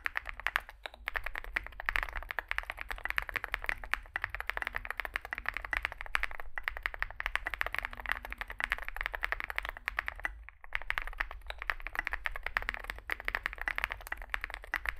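A Zoom65 65% mechanical keyboard with a dark metal case, likely aluminum, white and grey SA-profile plastic keycaps and lubed switches sits on a desk mat while two hands type with their fingertips. The result is a steady stream of rapid, short key taps with a bright clacky tone centered around 1.7 kHz, over a low background rumble, with a brief pause near the ten-second mark.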